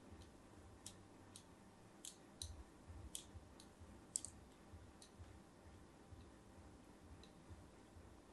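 A thin metal blade, held by a hand with long pink nails, scores diagonal lines across the embossed face of a solid, palm-sized, cream-coloured bar of soap held in one hand, scratching and cutting into it. Eleven short, bright, crisp clicks and scrapes ring out quietly and die away instantly over a soft, low rumbling background.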